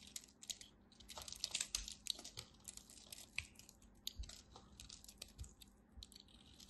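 A craft knife carves and scrapes small cubes off the last small wedge of a red-and-white dry bar soap held in the fingers. Quiet, bright, crisp scraping and crunching clicks come in dense uneven bursts, each dying away almost instantly.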